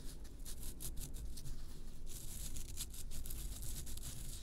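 Long nails rub and scrape the surface of a solid round bath bomb made of pressed baking-soda powder, producing a rasping sound. Repeated bright, scratchy bursts come and go over a steady low rumble for about four and a half seconds.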